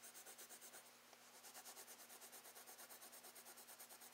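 A wooden Prismacolor colored pencil, held in the fingertips, is rubbed and scratched across a brown kraft paper page of a spiral-bound sketchbook lying flat on a desk, the solid paper surface backed by the pad. Short shading strokes make a soft, bright, papery scratching hiss in a steady rhythm of roughly three strokes per second. There is a brief lull about one second in before the strokes resume.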